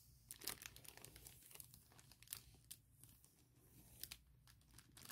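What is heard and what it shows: A hand with long nails presses, rubs and crinkles a large, clear, printed plastic bag holding a MacBook Pro laptop case. The result is a quiet run of bright, irregular crinkles and sharp crackles that come and go in short bursts over a faint, steady low rumble.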